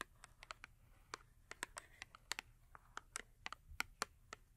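Long acrylic nails tap quickly on the top edge of a small Yardley soap box, printed cardboard holding a full soap bar, with its back side facing forward. About 20 quick, dry, bright clicks sound in irregular succession, each dying away almost at once over a soft, steady low hiss.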